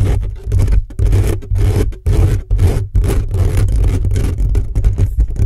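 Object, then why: Metal mesh microphone grille. Fingertips and short nails quickly scratch the hollow metal mesh grille of a black condenser microphone, at times from close up. Rapid, rough scraping comes in dense bursts separated by brief gaps, with a heavy low rumble under a hissy, bright rasp.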